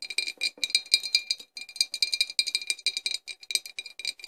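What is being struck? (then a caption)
Embossed glass bottle with cork stopper. Long fingernails of both hands tap a clear, embossed glass flask with a cork stopper, hollow and empty-looking, standing upright. The result is a quick, irregular stream of crisp, bright clicks, each with a brief glassy ring and almost no low end.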